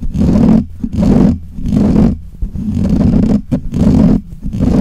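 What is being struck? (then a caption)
Metal mesh microphone grille. Fingernails of both hands scratch the black hollow metal mesh grille of a desk microphone. The result is bursts of loud, rough, low scraping and rumbling that swell and fade in uneven waves, with short quiet gaps between them.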